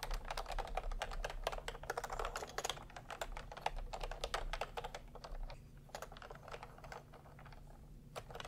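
Fingertips type fast on a full-size plastic computer keyboard with a hollow body and round pastel typewriter-style keycaps, resting on a white cloth. Quick, dry, hollow clacks patter densely over a faint low hum. The typing thins out and softens in the second half before a few final taps.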